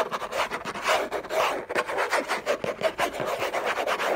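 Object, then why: Cardboard gift box lid. Short nails scratch hard and fast across a large, flat, hollow orange Hermès cardboard box lid, with a bracelet on the wrist. The result is a dry, raspy rubbing in quick, irregular strokes, with a hollow papery resonance in the mids and almost no low end.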